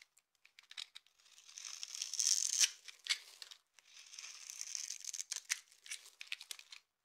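A utility knife with an orange handle scrapes flakes off a dry, hand-sized solid blue soap bar held in one hand, then cuts it into small cubes. Two longer, bright, rasping scrapes swell and fade, surrounded by many quick, crisp clicks and snaps. The sound is entirely high and dry, with no low end and almost no ring.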